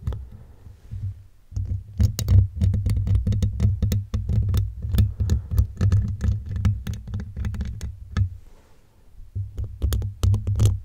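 The teeth of a blue plastic comb, held in one hand, scratch across a silver metal mesh microphone grille while the other hand steadies the mic. Rapid, irregular bursts of sharp, bright scratchy clicks ride over a deep, throbbing low rumble, with quieter lulls near the start and again around the eight-to-nine-second mark.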